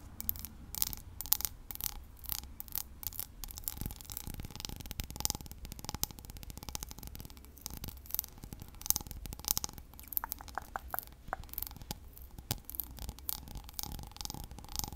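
A small, hollow, empty cut crystal whiskey tumbler is held sideways with its patterned base toward the mic and scratched and tapped with long nails. Dense, crisp clicks and scratchy rasps run throughout, with bright, short ticks over a faint low hum and a steady tone near 750 Hz.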